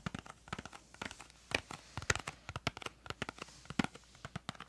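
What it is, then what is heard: Cardboard crayon box. Long nails tap the face and edges of a small printed cardboard crayon box held close to the mic. The result is a quick, uneven run of about 23 dry, short clicks, some slightly crinkly, with no ring after each tap.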